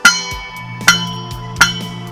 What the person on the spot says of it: Pwede rin batingaw ito na parang simbahan.